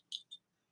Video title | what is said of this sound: Model kit Monday at the JDM garage! | Actually, it sounds like metal.